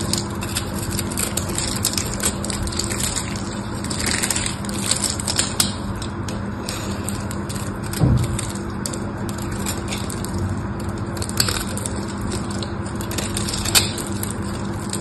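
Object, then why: Bar of soap. A small knife scrapes across a solid pink bar of soap with a crosshatch-scored surface, chipping off small cubes. A steady stream of dry, crackly crunching and scratching runs throughout over a low, constant hum. There is a heavier thump near the middle and a few sharper clicks toward the end.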